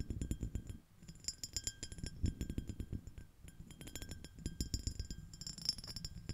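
Long nails tap and scratch the surface of a small, clear, iridescent, shell-shaped empty glass dish, using one or both hands. A quick, quiet run of clicky taps with brief, bright, high glassy pings rides over soft low thuds and faint scraping.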